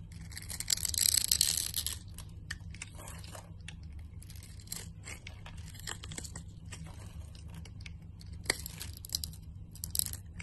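A utility knife blade scrapes grid-cut cubes off the surface of a solid, translucent orange glycerin soap bar held in the hand. A loud, bright, crackling scrape in the first two seconds gives way to quieter, irregular crisp scrapes and crumbly ticks, with a few sharper clicks near the end. A steady low hum runs underneath throughout.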